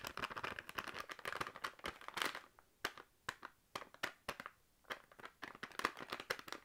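Long nails tap on a full, sealed plastic crisp packet, making quick, bright, crinkly taps with a crackling rustle. The taps come in dense flurries at the start and end, with sparser single taps and short quiet gaps in between.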